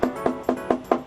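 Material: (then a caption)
Steel. A steel workbench top panel is tapped five times, giving short, hollow, mid-pitched knocks that die away almost immediately. The top sounds hollow inside rather than solid.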